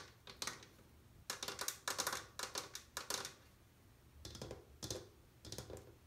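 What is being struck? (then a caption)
Glazed ceramic washbasin. Long painted nails tap and drum across the inner rim and bowl of an empty, solid, built-in white glazed ceramic washbasin. The sound is quick, bright, clicking taps in rapid bursts separated by short pauses, each tap dying away fast with only a brief ring.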